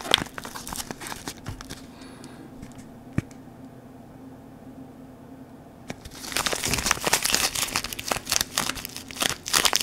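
A small yellow paper wrapper around a bar of natural soap is held in both hands and crinkled and squeezed with the fingers. Bright, dry crinkling opens the clip, fades to a quiet stretch with a few sparse ticks, then returns as dense, louder crackling and rustling for the last few seconds.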